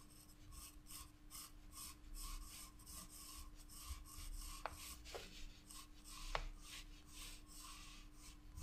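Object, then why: Graphite pencil on paper sketchbook page. A wooden graphite pencil is drawn across a spiral paper sketchbook page in quick, repeated shading strokes, making a light, bright scratching rasp on the paper. A few sharper ticks stand out midway through, over a steady low hum underneath.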